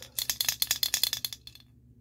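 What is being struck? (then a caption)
Small molded plastic toy figure. A small white molded plastic cockatoo figure, a Burger King Rio 2 toy that is likely hollow, is held in both hands with the fingertips and shaken and turned. It gives about 13 quick, bright, dry rattling bursts with almost no low end. The bursts fade to a few faint clicks and silence.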